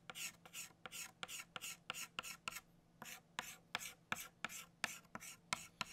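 An orange chalk stick scratches rapidly back and forth across a flat black chalkboard to fill in a circle. The clip is a quick, uneven series of short, dry, bright rasping strokes, about three per second, over a faint steady low hum.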